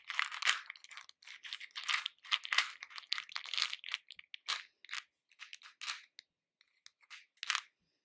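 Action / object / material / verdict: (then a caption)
drop / hard-shelled candy pieces in a plastic bowl / hard candy / none. Fingertips dig into a pink plastic bowl full of small hard-shelled candies, lifting them and letting them fall back in. The result is bright, crisp clattering and rattling in dense bursts separated by short gaps, thinning to sparser clicks toward the end.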